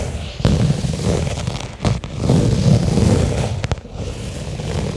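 A small, flat black pebbled-leather case lies on carpet and is tapped and scratched with long fingernails. The clip holds a steady, low, dull rustling and scraping with several sharp, bright taps standing out above it.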